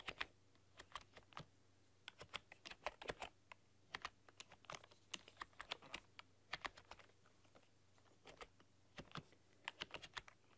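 Long dark-polished nails and fingertips type on a full-size plastic computer keyboard with black keycaps and a rainbow RGB backlight. Quick bright clicks and taps come in uneven bursts and clusters over a faint low hum, each key press sharp and dying away almost instantly.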